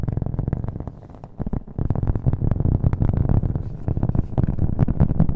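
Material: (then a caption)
Cork. A round, flat, solid cork coaster held in the hand is tapped quickly with fingernails, with an echo effect added. The result is a dense run of dull, low, muffled taps that dip quieter for a moment near the middle before building back up louder.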